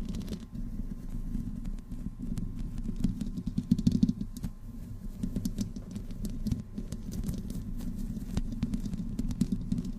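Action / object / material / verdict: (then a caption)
scrape / metal mesh microphone grille / metal mesh / none. Long nails of both hands scratch the hollow metal mesh grille of a black microphone with no windscreen, producing a dense, continuous scratchy patter of many quick, dry strokes. The sound is concentrated in a low, boomy body around 200 Hz with faint high-end hiss, and there is almost no ring between strokes.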